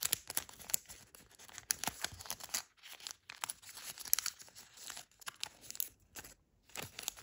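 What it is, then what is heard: Origami paper crane being folded. A thin origami paper crane, still being folded and held in the hands, has its flaps creased and rubbed by fingers. The result is a steady run of dry, bright crinkling and crisp tearing-like rustles with almost no low end. The crackles come in quick, dense bursts with brief quiet gaps.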